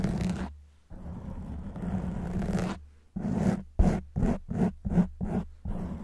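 Long white nails scratch a black foam windscreen on a silver microphone, making a close, muffled, low-heavy rasping scrape. Two long continuous strokes are followed by a quick run of short, choppy scratches, then another sustained rub.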